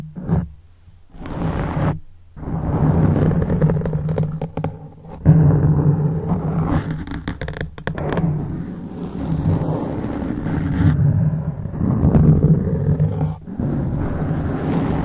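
Fingertips grip, rub and scratch a black foam microphone windscreen. The result is a dense, muffled rumbling and scraping, almost entirely low in pitch with no bright content. Brief near-silent gaps break up the handling.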